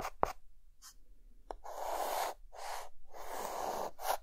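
A hand adds short hatching strokes with a white chalk stick on a dark green chalkboard. Brief tapping contacts give way to longer, scratchy rasping strokes, with a gritty mid-range tone around 800 Hz and a bright hiss on top. Quiet gaps fall between the strokes.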